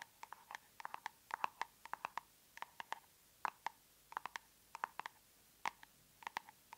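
Long nails tap on the lid and side of a large round plastic tub of aloe soothing gel. Around thirty quiet, sharp clicks come in irregular bursts, each with a hollow, plasticky tone near 930 Hz and a bright tick on top. Every tap dies away almost instantly against a near-silent background.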